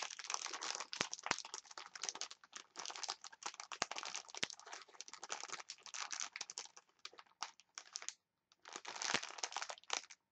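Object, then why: Clear plastic package of wooden chopsticks. Long nails scratch and crinkle a clear plastic package of wooden chopsticks, making dense, bright, crackly rustling with short sharp clicks. The crinkling runs almost continuously, pauses briefly near the end, then resumes for a final quiet burst.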